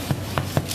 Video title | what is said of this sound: Italian bread made simple. | if it sounds Hollow it means it's ready